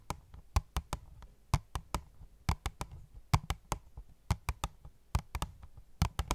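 Fingernails tap an opened, hollow cardboard phone case box with a clear plastic window in a quick, irregular series of taps. Each tap is a dull, low hollow thump around 94 Hz with a sharp clicky edge reaching high, and it dies away almost instantly.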